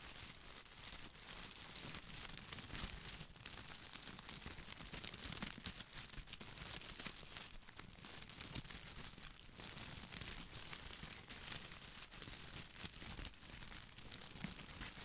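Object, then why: Plastic artificial boxwood ball. Fingertips scratch and rub the leaves of a plastic artificial boxwood topiary ball held close to the microphone. The result is a dense, continuous, bright crinkling and scratching texture with soft rustling underneath, staying quiet and steady throughout.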